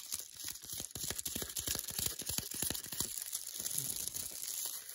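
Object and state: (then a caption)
Paper-wrapped chocolate bar. Long nails fast-tap and scratch the glossy paper wrapper of an unopened, foil-and-paper wrapped milk chocolate bar held in the hands. Quick, uneven taps blend with bright, crinkly scratching that stays mostly in the high frequencies, with each tap dying away almost instantly.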